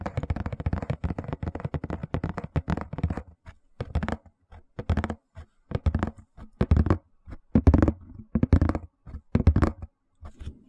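Fingertips and nails tap and scratch on the lid of a closed, hollow white printed Hush Puppies cardboard shoe box. A dense run of quick, dull, low thumps and rustling scratches fills the first three seconds, then breaks into short spaced bursts of tapping and scraping with brief silences between.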